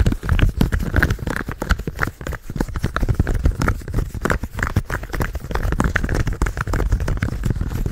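Fingertips tap and click rapidly on the buttons and shell of a purple hollow plastic gamepad held close to the mic. The result is a dense, continuous run of short, dull taps and clicks with a heavy low-end thump and a fast decay.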